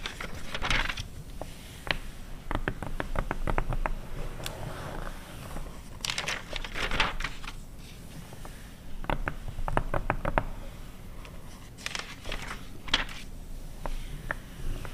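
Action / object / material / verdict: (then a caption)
scrape / glossy paper magazine / paper / none. An open car magazine from 2009, thin glossy paper, has its pages scratched across by long red nails, then tapped and turned. The result is crinkling rustles and sharp, bright taps and scratches in short bursts, with a low background rumble throughout.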